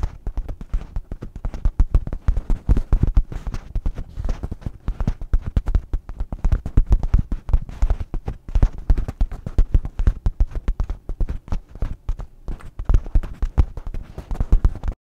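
A teal nylon rain jacket with gray lining lies in a heap in front of a microphone while fingertips and nails tap and scratch its fabric quickly in repeated patterns. Many soft, dull, low thumps and rustling scratches run dense and uneven throughout, with almost no bright crinkle.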